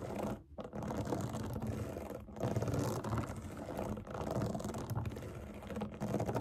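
Long nails quickly tap and scratch across the hollow bubbles of a large round rainbow silicone pop it fidget toy resting on a table. The result is a dense, continuous stream of rapid soft clicks and scratchy rustling, weighted toward low and mid tones, with only brief dips in level.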